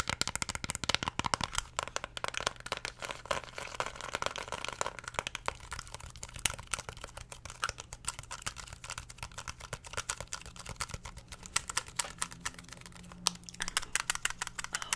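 Long nails tap and press the colored buttons of a small, flat, black plastic LED remote control held close to the microphone. The result is a steady stream of rapid, bright, clicky, typing-like taps over a faint low hum.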